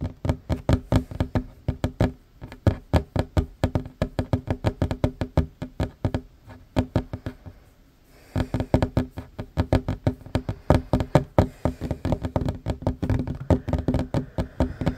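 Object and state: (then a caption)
Wooden table. Short fingernails and fingertips tap fast on a worn wooden tabletop, a large solid surface. Dense runs of short, dry knocks with low, woody thumps fade almost instantly. The tapping slows and briefly pauses near the middle, then resumes at full speed.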